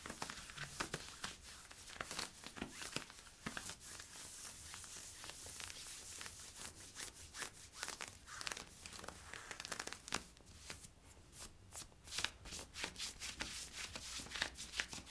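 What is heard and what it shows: Fingers rub and scratch worn camo polyester-spandex stretch leggings near the waistband. The result is a quiet, continuous run of bright, dry scratching and crinkly rasps, with many sharp, short strokes layered over a soft fabric hiss.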